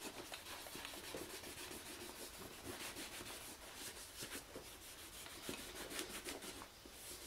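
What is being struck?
Leather shoulder bag rubbed with a cloth.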